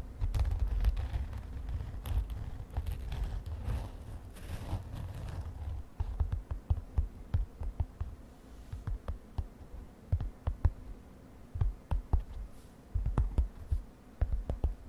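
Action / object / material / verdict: tap / padded synthetic glitter fabric makeup pouch / synthetic fabric / none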